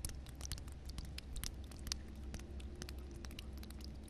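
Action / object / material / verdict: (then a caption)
scrape / concrete floor with water on it / concrete / none. Long red nails scratch and rub across solid, flat concrete ground covered with water. Quick, bright, wet scratching strokes and ticks come in rapid succession over a steady low hum, and each sound dies away almost at once.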